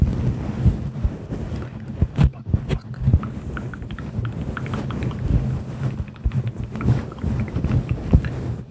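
Fingertips pluck, pinch and rub a soft, bulky, fluffy grey-and-white synthetic fur windscreen over a microphone in a slow searching motion. The result is a dense, muffled low rumble of brushing and scratching, with soft thumps and faint crackles scattered throughout.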